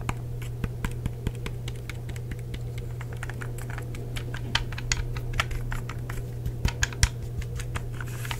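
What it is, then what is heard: Plastic game controller, hollow shell. Fingertips tap the shell and click the buttons of a hollow, black plastic Xbox 360 wireless controller. Quick, dry clicks and light taps come in an irregular stream, each dying away almost at once, over a steady low hum.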